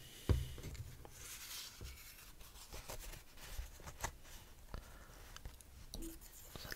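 A single thin cream-colored paper instruction sheet with a printed diagram is held up in both hands above a foam-lined case while the fingertips rub and handle it. Soft, close crinkling and rustling follow a sharp crackle near the start, with faint airy paper friction and low rumbling handling noise throughout.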